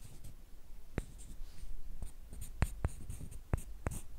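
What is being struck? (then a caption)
Two thin wooden sticks. One thin, flat, light, solid wooden stick about hand length is rubbed and scraped along a second, identical stick. The result is a quiet, low, dry rasping, broken by short, sharp clicks that stop at once.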